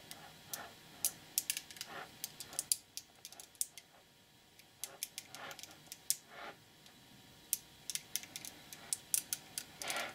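Fingertips pull small, solid, nickel-plated neodymium magnetic balls (about 5 mm) off a cube of about a thousand held in both hands and snap them back onto the block. The result is quiet, rapid, bright clicks that die away almost instantly, with brief gaps of near silence between bursts.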